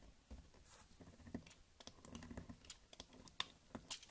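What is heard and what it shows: A small, solid white bar of soap is held in the hand and carved with a teal utility knife blade, cutting chunks and shavings onto a pile of soap crumbs. The clip is a quiet, rapid series of crisp scrapes and sharp clicks with bright, short-lived crunches. Each cut sounds dry and close, with no ring afterward.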